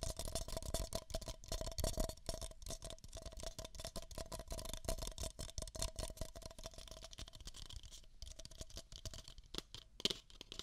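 Long nails rapidly scratch and tap two identical empty beige paper cups, hollow inside. The result is a dense, dry rustle of quick scratches and taps, with a faint hollow ring under bright papery highs. It ends in a few sharper taps.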